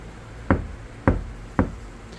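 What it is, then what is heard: Car door panel with uncured damping bond, rattly and unclear. Three knocks on the center of a Kia Sportage NQ5 steel door panel, just after damping work and before the adhesive has hardened. Each knock gives a short, dull, low thud with a rattly, unclear tone rather than a clean ring, which is expected to clear up once the bond dries.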